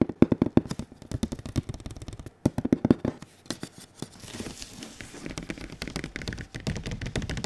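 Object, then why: Printed cardboard box. Fingertips tap rapidly on a large, glossy printed cardboard console box held up close to the mic. The taps come in quick bursts of short, dry, hollow knocks with a low-mid body. Midway they give way to a softer, denser patter with a faint bright scratchy edge.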